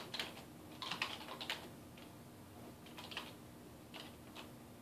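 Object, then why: Plastic computer keyboard. Fingertips type, press and tap keys continuously on a dark plastic desktop keyboard resting on a wooden desk. Quiet, bright, crisp clicks come in irregular bursts and clusters, each tap dying away quickly over a faint steady low hum.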